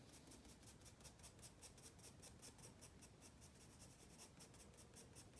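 A wooden graphite pencil held in the fingers rubs and scratches across a white spiral-bound paper sketchpad lying flat on a wooden desk while drawing. Soft, bright, papery scratching comes in quick, fairly steady strokes of about two to three per second over a low, quiet rumble throughout the clip.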